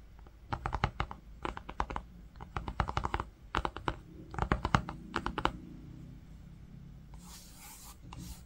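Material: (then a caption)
Linen fabric. Fingertips rub and trace across the green linen-textured fabric cover of a book with a brown panel, making quick bursts of short, dry scratchy taps in clustered strokes. Near the end comes a softer, continuous breathy rubbing with a bright hiss.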